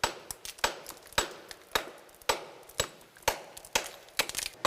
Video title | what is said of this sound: 한반도 광물 자원을 확보하라! - 고상모 지질학자 [#브라보K사이언티스트] / YTN 사이언스 | 허물허물하고 이거 깨지는 소리도 다르지 않습니까? 예. 그게 이 암석들의 강도 차이예요.